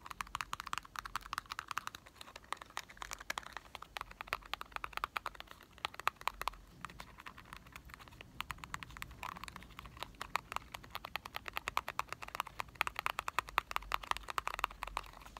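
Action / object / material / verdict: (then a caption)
tap / small printed cardboard chocolate box / cardboard / none. Fingertips and short nails tap quickly across both sides and edges of a small, hollow printed cardboard box of Marble chocolates. The result is a steady stream of quiet, dry, hollow clicks centered around 1 kHz with almost no ring. The taps grow denser in bursts toward the middle and end.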